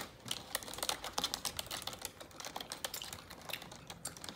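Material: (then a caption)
Plastic. Long neon-yellow acrylic nails type rapidly on a black full-size plastic computer keyboard resting on a desk. The result is a quick, uneven stream of sharp, bright plastic clicks and taps with very short decay and almost no low end, at a soft level throughout.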